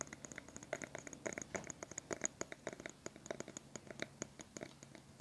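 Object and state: Plastic hairbrush bristles being scratched.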